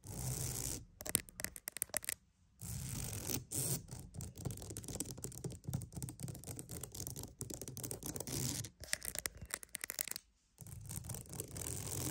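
A wooden mat is tapped and scratched for ASMR in close, dense bursts of dry rasping texture with a low thumping body and bright, hissy highs. Brief pauses break up the continuous scratching, and each stroke dies away almost instantly with no ring.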